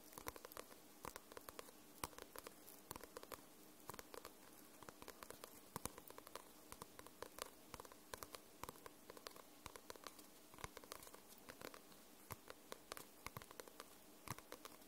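Long nails tap and scratch across the glossy paper cover of a paperback book. The result is a quiet, steady stream of sharp, bright clicks and light scratchy patter that lasts the whole clip, with each tap dying away almost instantly.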